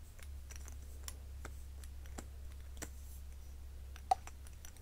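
A hollow, soft pink silicone cat-shaped cover on a cosmetic stick is held in the hand and tapped and rubbed with fingertips and long nails. Quiet, irregular soft clicks and light scratchy taps sit over a steady low hum, ending with two sharper, louder clicks near the end.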